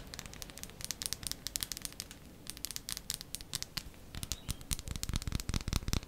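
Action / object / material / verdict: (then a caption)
tap / bar of soap / soap / none. A bar of soap is tapped quickly with the nails, making a fast, uneven stream of short, dry clicks with bright, crisp tops over a soft low rumble. The taps come in quick clusters and grow denser and fuller toward the end, each dying away almost instantly.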